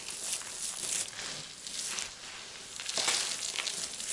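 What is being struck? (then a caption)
Pile of soap shavings. Both hands with painted fingernails scoop, squeeze and crush a large loose pile of small, dry, brittle multicolored soap chips between the fingers on a white surface, rubbing them and letting them fall. The result is a continuous bright, crisp crackling and crinkling with almost no low end, swelling into louder bursts near the start and again about three seconds in.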